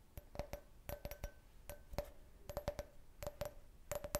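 A clear, hollow, empty can-shaped glass beer glass, held in the hand, is tapped with the fingernails in quick irregular bursts. Each tap gives a sharp click with a brief ringing tone near 590 Hz that dies away almost at once.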